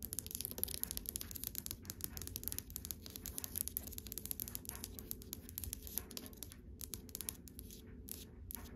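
Long white acrylic nails tap rapidly on the dark polished wooden front of a dresser drawer, beside its brass handles without touching them. The result is a quiet, steady stream of short, dry clicks with bright, crisp high tones and no ring, over a soft low rumble.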